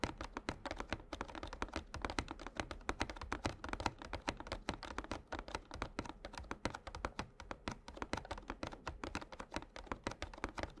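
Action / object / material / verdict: tap / glossy cardboard card deck box filled with cards / cardboard / none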